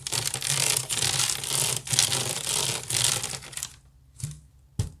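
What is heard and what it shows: Fingernails scratch fast across the woven side of a large, hollow wicker basket, making a dense, bright, crackling rasp with a low hollow undertone. The scratching runs almost continuously for nearly four seconds, then two short separate scratches follow before the clip ends.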